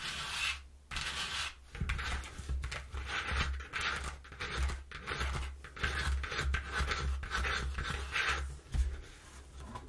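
Long nails and fingertips scratch and tap the inner panel of a flattened brown corrugated cardboard box. Dry, rasping scratches come in bursts with short pauses, over a steady low thudding rumble.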